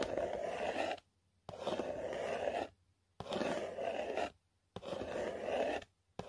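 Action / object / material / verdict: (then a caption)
scrape / printed cardboard box / cardboard / none. A long nail scrapes and scratches across the flat printed face of a yellow Walmart selfie stick cardboard box. Five rasping strokes, the last cut off, are each about a second long with short silent gaps between them. Each has a dry, papery scratch centered in the mids with a bright fizzy edge.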